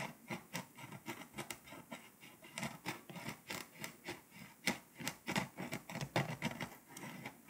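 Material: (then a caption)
Foil-coated paper. A pink scraper tip scratches the foil coating off Lithuania on a flat, foil-coated paper scratch-off map, heard close-up. About 25 short, irregularly spaced strokes make dry, rasping scratches with bright, broadband grit. Each stroke fades quickly, with faint flecking sounds in between.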